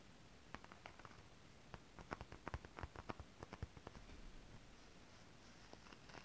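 Long decorated acrylic nails tap and scratch across a flat sheet of shiny holographic mermaid scale-print stretch fabric. Quiet, dry, clicky taps with almost no ring come in an irregular run that gathers in the middle, over a soft scratchy rustle that fades in and out.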